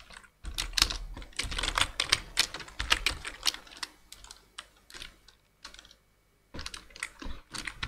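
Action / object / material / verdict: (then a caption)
tap / plastic computer keyboard / plastic / none. Two-handed fingertip typing on a black plastic full-size computer keyboard produces rapid, bright, clicky key taps in uneven bursts. The typing stops twice, briefly near the start and for about half a second near the end, before resuming.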